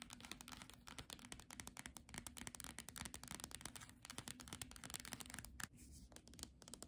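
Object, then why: Paperback book with glossy card cover. Long nails tap and scratch quickly across the glossy cover and edge of a solid paperback book with a Monet picnic image. Dense, crisp clicks and bright scratchy rasps blend into a busy, fast texture over a faint low hum near 200 Hz. There is a brief quieter scratching stretch near the end.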